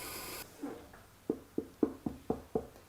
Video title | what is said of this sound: Hometowne TV Laura Hanley Interview and Wheel throwing Demonstration | if it sounds hollow I know it's thin enough if it sounds a dense it's thick and I need to trim some more